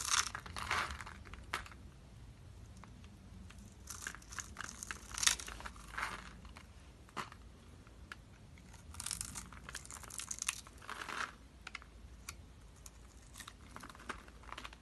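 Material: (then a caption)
Soap. A metal blade scrapes into the scored surface of a solid, oval, coral-colored bar of dry soap held in the hand, breaking off small cubes. Bright, crisp crunching and crackling come in irregular bursts over a quiet low rumble.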